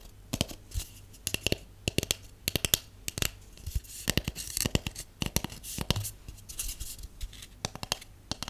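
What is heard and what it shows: Long painted nails tap on a hollow white cardboard tube, first held upright and then turned sideways. Quick, dry clicks come in uneven bursts, each short with a bright edge and a hollow low thump, over a faint steady low hum.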